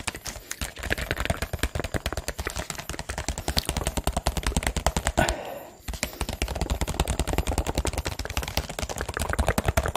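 Fingertips and nails tap and squeeze a hollow, clear PET water bottle with a teal label and cap, partly filled with water and held in both hands close to the microphone. The result is a dense, uneven stream of quick clicky taps with a low, hollow thump and crinkly plastic crackle. Near the middle comes a brief pause with a soft sloshing crinkle before the tapping resumes.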